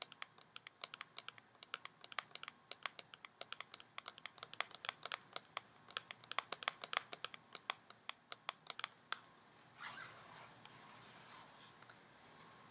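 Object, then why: Cardboard cosmetics box. A tall, narrow, printed cardboard COOLA cosmetics box, hollow with the product inside, is held in hand and tapped and scratched with long nails. For about nine seconds there is a rapid run of dozens of crisp, bright, dry clicks. It then shifts to a soft, continuous scratchy rustle that carries on to the end.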